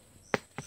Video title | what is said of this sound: NANGUHA NG MGA HINOG NA LANGKA AT LABONG | ganito ang tunog. Ayun. Ayun. Malagabong, parang tabaw na siyan